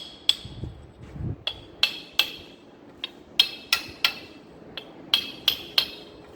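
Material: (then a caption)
Metal, rubber. A rubber and metal oil seal is driven little by little into its bore in the aluminium lower-unit housing of a Yamaha F-100 four-stroke outboard, using a hammer and a small tube. Twelve sharp, bright metallic taps ring briefly around 3.3 kHz, spaced unevenly over about six seconds. The seal is still moving inward and not yet fully seated, since the tap sound is expected to change once it stops.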